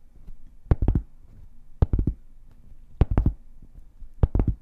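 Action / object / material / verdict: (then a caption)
tap / round flat cork board tapped with fingernails / cork / none. Long painted fingernails tap and scratch a large, solid, round flat cork board held upright. Four short bursts of quick, dull, low taps stand out over a faint scratching rustle, and each tap stops dead with no ring.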